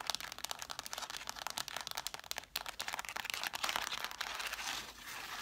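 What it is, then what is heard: Cloth-bound hardcover books being scratched. Long black nails scratch quickly across the spines and page edges of an angled stack of red cloth-bound hardcover books. The result is a dense run of dry, bright scratching and crinkly rasps with very little low end, rising into a steadier rustling hiss near the end.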